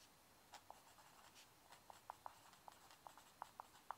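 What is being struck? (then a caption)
Paper legal pad written on with a pencil. A mechanical pencil held in the hand writes across a yellow lined sheet of a paper legal pad lying flat on a wooden desk, its graphite tip scratching the paper. Quiet, soft scratching is broken by eleven short, sharp ticks that peak around 900 Hz with faint brighter hiss above, each dying away almost instantly.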